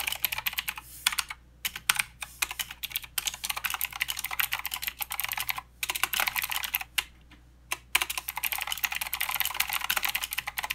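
Both hands type steadily with fingertips on a mechanical keyboard with plastic keycaps and blue switches, producing a rapid stream of bright, sharp clicks with very short decay. The clatter pauses briefly a few times before resuming.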